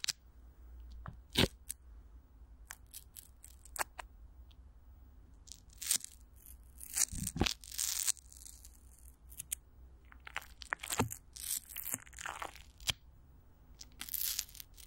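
Clear plastic wrap with Vaseline is stretched over a hollow microphone grille while one hand grips it, then fingertips and long nails scratch and rub the film. Sharp, bright crinkles and crackles come in quick bursts, some dense and tearing-like, over a faint low hum.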